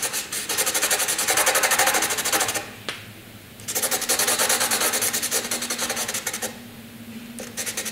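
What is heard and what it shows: A graphite pencil rubs heavily back and forth across a flat sheet of white drawing paper, making rapid shading strokes. The dense, bright, raspy scratching comes in two long bursts, separated by quieter pauses, before resuming at the end.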